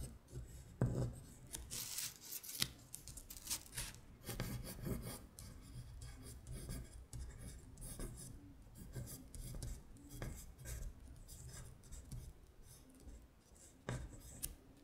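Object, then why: Paper sheet scratched by fingernails. Long nails scratch and trace over the words on a paper worksheet listing the months in Korean, lying flat. The result is a soft, continuous rasping and rubbing with bright papery scrapes and dull low taps as the nails press and drag across the sheet.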